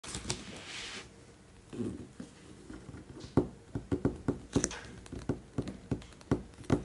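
Fingertips and short nails of both hands trace, then tap, the glossy printed front cover of a closed, large, solid, thick hardcover art book with a paper-covered cardboard cover lying flat on a white table. A soft brushing scrape comes first, followed by about a dozen short, dull, low taps with almost no ring.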